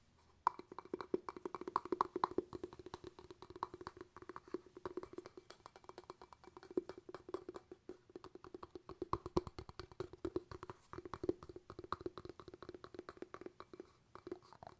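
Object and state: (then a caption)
Glass jar with bamboo lid. Fingertips tap rapidly and steadily on a small, hollow, empty clear glass jar with a bamboo lid, held in the hand, striking both the wooden lid and the glass. The taps are short and dry with almost no ring, carrying a hollow tone around 370 Hz and a brighter note near 1 kHz. They continue unbroken for about fifteen seconds at a soft level.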